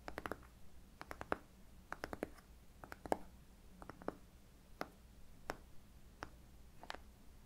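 A small, light wooden box, likely hollow, is held close to the ear of a Costco teddy bear and rapidly tapped and scratched with fingernails. The result is quiet, sharp, dry clicks that die away almost instantly, coming in quick clusters with softer scratching between them.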